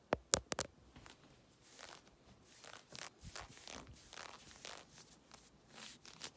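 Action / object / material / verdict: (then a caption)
scrape / synthetic stretch fabric leggings / synthetic fabric / none. Long red nails scratch and rub worn grey synthetic stretch leggings at the hip and thigh. A few sharp, loud scratches open the clip, followed by a steady run of softer, bright, hissing strokes across the fabric.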